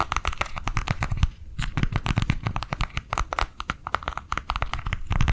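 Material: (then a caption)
Plastic. A small white plastic cardholder book, held up in both hands, is tapped quickly on its cover and edges with long nails. The result is a rapid, steady stream of short, dry clicks and hollow little thuds, with a low body under bright clicky ticks and almost no ring after each tap.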